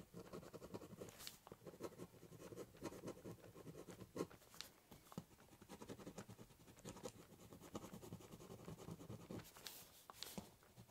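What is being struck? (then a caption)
Corrugated cardboard box top with ballpoint pen. A ballpoint pen doodles a border on the top of a large corrugated cardboard box with scratching strokes. Quiet, continuous dry scratching carries a hollow low-mid body from the cardboard, broken by occasional sharper, brighter strokes that stand out above the steady scribble.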